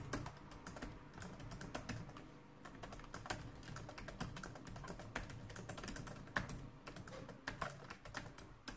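Both hands type rapidly with fingertips and long nails on a black plastic laptop-style keyboard resting on a wooden desk. The result is a steady stream of short, dry clicking taps with a low thudding body and brief bright tips, with occasional louder keystrokes standing out.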